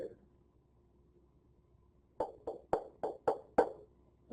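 A wooden violin plate, held in the middle, is tapped six times at one of its vibrating regions, giving short, dull knocks with a low-mid tap tone around 480 Hz that dies away almost at once. Violin makers listen to such tap tones to tune the plate by removing wood.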